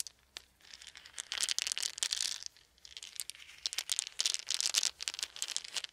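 A handful of small, round, solid wooden beads is held in cupped hands over a fuzzy blanket while fingertips roll and shake them together. The result is dense, bright clicking and rattling that rises in two busy waves with a short lull between them, with almost no low end and each click dying away instantly.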